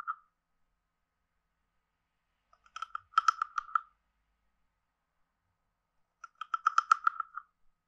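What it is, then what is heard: Wooden frog guiro. A wooden stick taps and scrapes along the ridges of a hand-sized, hollow, carved wooden frog guiro. A single hollow tock is followed by two bursts of quick, dry, clicking ratchets. The tone is woody, centered near 1.3 kHz with bright edges, and each strike dies away almost instantly.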